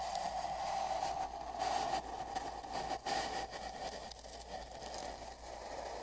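Bristles of a large paint brush are pressed and brushed along the right part of a long, hollow, empty brown cardboard mailing tube with a microphone inside it. The result is a continuous scratchy, brushing hiss over a steady hollow resonant hum around 770 Hz, swelling and dipping as the strokes change.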